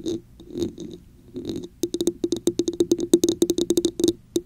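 Long nails scratch the patterned sides of a hollow red textured plastic cup turned upside down over the mic, making three soft, breathy rasping swells. A quick run of crisp, hollow taps on the top of the cup follows, each with a short resonant knock.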